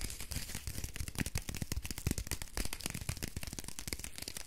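A small, solid rectangular bar of soap in a printed paper wrapper is held in both hands while long fingernails rapidly tap and scratch the wrapper, crinkling it. Quick, dry clicks and papery crinkles run continuously with no pauses, with a soft low thump under each tap and a bright, crisp rustle on top.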